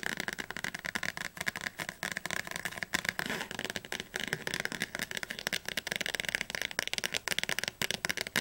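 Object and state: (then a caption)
Thick softcover dictionary. Long fingernails of both hands tap fast on the spine of a thick, closed Oxford Advanced Learner's Dictionary, a softcover book with a glossy blue cover held upright. The result is a rapid, uneven stream of dry, clicky taps with almost no ring, bright and crisp, centred around 1.9 kHz and with very little low end.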